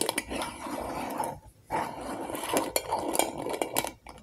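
Long acrylic nails tap and scratch the glass sides of a medium glass jar candle with solid wax inside, a label and a metal lid. Bright, short clinks ring over a steady scratchy hiss, which drops out briefly near the middle before the tapping resumes.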